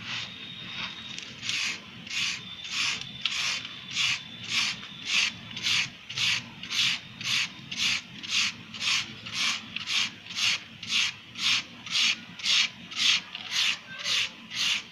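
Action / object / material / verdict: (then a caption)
scrape / sand-cement block / sand cement / none. A wire-loop carving tool scrapes and shaves grooves into the surface of a soft, solid grey sand-cement block held in one hand. Each stroke is a gritty, bright scratching rasp, repeated in a steady rhythm of just under two strokes per second.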